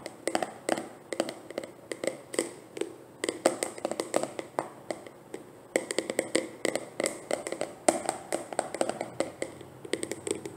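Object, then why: Plastic jar. A closed, likely full medium plastic hair cream jar with an orange lid is turned in the hands and tapped on its side and lid with long painted nails. The result is rapid, irregular bursts of short, dry clicks with a hollow midrange body and bright highs that stop almost instantly, with brief pauses between runs.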